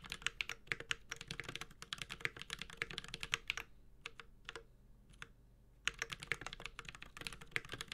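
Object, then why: Mechanical keyboard with aluminium case and plastic keycaps. A Space65 Cybervoyager 65% mechanical keyboard with an aluminum case, Holy Panda switches and ABS keycaps is typed on continuously with the fingertips of both hands. Quick, bright, tightly damped clacks come in dense bursts. A lull in the middle holds only a few isolated keystrokes before fast typing resumes.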